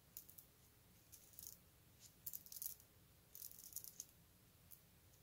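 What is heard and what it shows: A long wooden bead necklace of small solid wooden beads is held up and handled with the fingertips, shaking the beads so they rattle against each other. Quiet, bright clicking comes in short clustered bursts separated by brief pauses, with each click dying away almost instantly.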